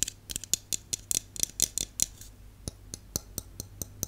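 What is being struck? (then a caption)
Aluminium aerosol can. Long nails tap on the body and bottom of a held Dove aluminum aerosol dry shampoo can, a hollow metal can. About eighteen sharp, bright clicks with almost no ring come in quick irregular clusters for the first two seconds, then slow to evenly spaced single taps.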